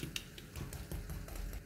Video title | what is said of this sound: canard rôti entier au four avec peau croustillante, présenté avec des legumes sautés | je retire le canard du four, comme vous entendez, ça croustille